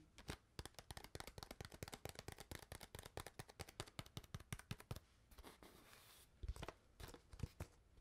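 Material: PET plastic.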